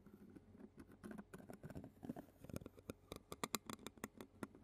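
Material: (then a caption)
Metal mesh. A clear plastic spoon taps and scratches the black metal mesh grille of a handheld Zoom recorder held in a hand. Quiet, soft scratchy patter gives way to sharper, brighter clicking taps toward the end. Each tap is short and dry, with almost no ring.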